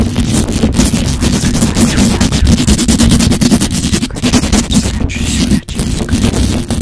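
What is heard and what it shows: Long pointed acrylic nails on both hands scratch fast and hard across the hollow metal mesh grille of a black microphone. The result is a dense, continuous, loud scraping texture, heavy in low rumble with a steady hum-like band near 200 Hz. It has only brief dips, the deepest one near the end.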